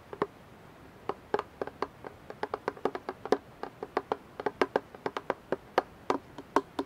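Fingertips and nails tap a clear plastic dish soap bottle, partly filled with liquid and held upright, striking both the bottle and its label. About thirty short, hollow mid-pitched taps come in an irregular run. Each one dies away almost instantly, with little low end.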